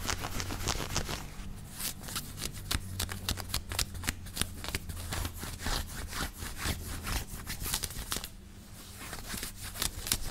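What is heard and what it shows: Fingertips and nails quickly scratch and rub the chest and shoulders of a grey knit cotton t-shirt worn on the body. The result is a dense run of rapid, bright, scratchy fabric strokes over a steady low hum, with a brief quieter stretch near the end.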